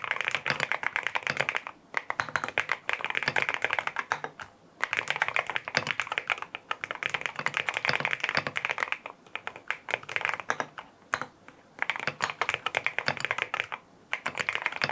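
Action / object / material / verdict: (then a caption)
tap / aluminum mechanical keyboard with plastic keycaps / aluminum / none. Fingertips type on a lavender full-aluminum M1W mechanical keyboard with white plastic keycaps, a PC plate, foam filling and linear Strawberry Wine switches. Quick bursts of crisp, bright, short clacks come in runs separated by brief pauses, with almost no low-end thump.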